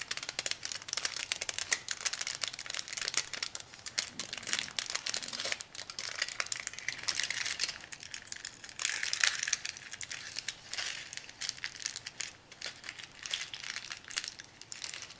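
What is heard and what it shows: Thin aluminum foil is squeezed into a small, compact wad between fingertips and nails. The result is a continuous run of bright, crackling crinkles and crushing snaps with almost no low end. The sound swells and eases in waves over about fifteen seconds.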